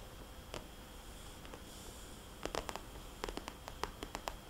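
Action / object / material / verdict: tap / vinyl cosmetics bag / vinyl / none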